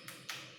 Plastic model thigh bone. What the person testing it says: kalau misalkan kita bunyi kayak gini kok tok tok tok, seperti ada ruang di dalamnya. Seperti apa? Seperti, ya, benar, seperti pipa.